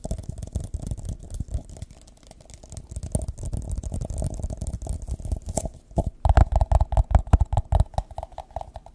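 Fingertips and nails tap and scratch the side of an empty, hollow, thin-walled transparent plastic drinking cup held close to the mic. The result is a quick, irregular stream of soft, deep thumps and dry scratching, with short, dull sounds that barely ring. After about six seconds the taps grow louder and sharper, adding a hollow mid-range knock.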